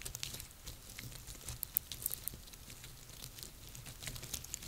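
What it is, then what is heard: Dry pine cones. Long painted nails and fingertips scratch and tap the scales of a small pile of dry, woody, hollow-scaled pine cones resting on a table. The result is a quiet, steady stream of dry crackling and scratching, with bright, sharp clicks and taps scattered throughout over a soft low rumble.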